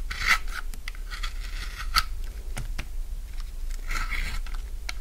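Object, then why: Bar of soap cut with a steel blade. A steel utility-knife blade carves and scrapes curled shavings off a solid, hand-sized light-blue bar of dry soap held in the fingers, above a pile of soap shavings. Dry, crunchy rasping strokes come in short bursts with bright, crisp edges over a steady low hum.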